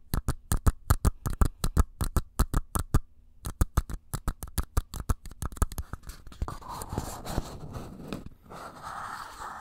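A single small, empty paper cup held sideways over the mic is tapped with fingernails in a fast, uneven run of sharp, dry taps with deep close-up thumps and a brief pause near the middle. The tapping then gives way to continuous scratchy rustling as the nails scrape across the cup.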